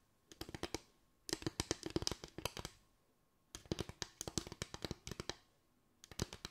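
Long white acrylic nails tap and scratch a small board of parallel bamboo slats with gaps. They come in four quick bursts of dry, bright clicks, each dying away almost instantly. A faint hollow tone sits low in the midrange, with near silence between the bursts.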